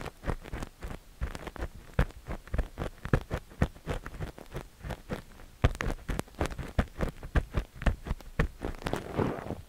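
A thin metal ear pick with a white handle scrapes inside the canal of a cream silicone dummy-ear microphone while a hand holds the ear. Short, dry, bassy scratching strokes come in a steady, close run with little ring.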